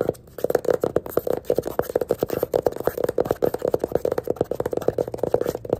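A small yellow hardcover paper sketchbook lies on its side with its pink page edges showing, while fingertips and nails tap and scratch quickly across the page edges and the cover. The result is a fast, dense run of short, dry, papery taps and scratches centered in the low-mid range, with no ringing after each hit.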